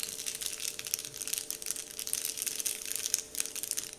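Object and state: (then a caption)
Paper candy wrapper crinkled. Fingers crinkle a large, flat, heart-shaped Dove-printed paper candy wrapper sheet while the palm rubs across it. The result is a steady stream of dense, bright crackles and crisp rustling, with quick sharp snaps, almost no low end, and a faint steady hum underneath throughout.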